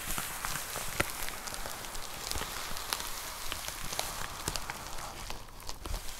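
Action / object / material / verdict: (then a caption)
tap / plastic poly mailer with a box inside / plastic / none. Long nails tap rapidly on a white plastic poly mailer with a box inside, making a quick, irregular patter of soft crinkly ticks. The taps blend into a steady rain-like rustle, with one sharper click standing out near the start.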